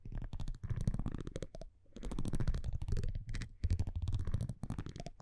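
A metal tweezer-like tool scratches and taps across the front of a thin printed cardboard baseball card held in one hand. Rapid, dry, close-up scraping and tapping bursts come in quick runs, with brief pauses between them and a heavy low rumble under the scratching.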